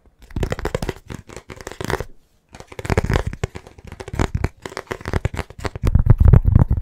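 A thin, flat, rigid black rectangular writing board with a lined surface, a small blackboard, is held in both hands and tapped and scratched fast with the fingertips and nails. It produces dense bursts of quick, dry, low thudding taps mixed with scratchy crackles, with a brief pause after about two seconds. The tapping grows louder and heavier toward the end.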